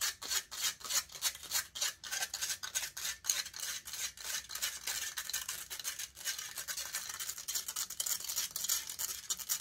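Long nails scratch rapidly and aggressively across the hollow metal mesh grille of a large silver condenser microphone. The result is a dense stream of bright, raspy scraping strokes in a quick, uneven rhythm, with almost no low end.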